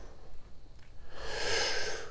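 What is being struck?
Nothing is struck.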